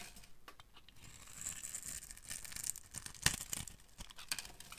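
A metal blade scrapes and shaves flakes off an orange solid bar of dry soap held in the hands. The sound is a dry, crackly, tearing scrape, mostly high and bright, with quick clicks and one sharp louder crack partway through.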